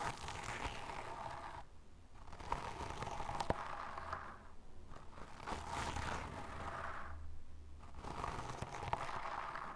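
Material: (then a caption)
Sand. A small brush tip repeatedly scratches and digs into a loose mound of pale fine sand. It makes a continuous gritty scraping and crunching with soft, dry rustle. Brief quiet gaps separate the passes.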